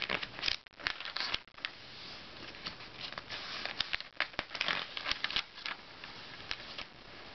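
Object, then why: Glossy paper magazine. Fingertips rub and lift the page edges of an open glossy paper Self magazine and turn its pages. The result is quiet, bright, crisp rustling and crinkling, with sharp snaps and flicks scattered throughout and very little low end.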